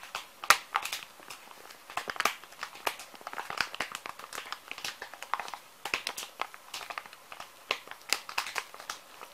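A small, full plastic-film wet wipes pouch is held in the hand and squeezed and crinkled with the fingers. Dense, irregular crinkling and sharp crackles fill the clip, bright and thin with no low end, each snap dying away almost instantly.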